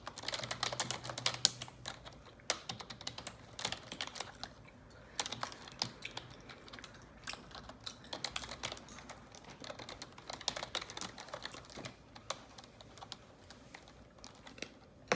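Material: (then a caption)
Plastic. Long neon-yellow nails and fingertips type on the keycaps of a black plastic computer keyboard. The result is a steady stream of quick, bright, clicky taps with very short ring, some strokes sharper and louder than others, over a faint low hum.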